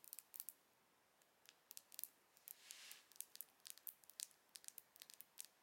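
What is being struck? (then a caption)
Plastic mascara tube. A closed, slim silver plastic mascara tube is tapped and scratched along its length with long acrylic nails. The result is a quiet, irregular series of sharp, bright high-pitched clicks and ticks, with a brief soft scratching hiss partway through.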